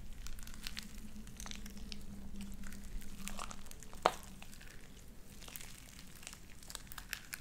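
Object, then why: Sticky slime with plastic beads. Light-blue sticky slime with white beads is pulled apart, then squeezed together in both hands, giving a steady stream of soft crinkling crackles and small bead pops. A low hum sits underneath through the first half, and one sharper, louder pop stands out around the four-second mark before the crackling settles quieter.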